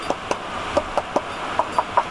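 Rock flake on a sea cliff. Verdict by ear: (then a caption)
Loose. A loose flake of rock on a sea cliff is tapped repeatedly, giving a series of short, hollow knocks with a pitch near 1 kHz that die away almost instantly. The flake sounds loose, and a cam placed behind it would likely rip out in a fall.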